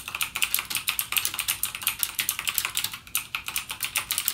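Fingertips type continuously on a backlit mechanical gaming keyboard with plastic keycaps and clicky Cherry MX Blue switches. About 31 sharp, bright clicks come in a steady, rapid stream, each dying away almost instantly with almost no low-end body.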